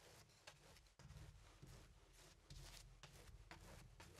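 A fine paintbrush dabs and rubs across a medium stretched cotton canvas on an easel; the canvas is thin fabric over a hollow wooden frame and mostly painted black. The strokes make a quiet, continuous scratchy brushing with a brighter hiss. Low, hollow thumps from the frame rise each time the brush presses in.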